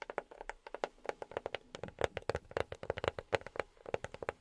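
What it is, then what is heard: Box tapped with silicone finger pads. A box is tapped with silicone rubber pads on the fingertips, producing a quick, uneven run of about thirty soft, muted taps over four seconds. Each tap is short and dull with almost no ring, centered around a hollow tone near 550 Hz with a little brighter click on top.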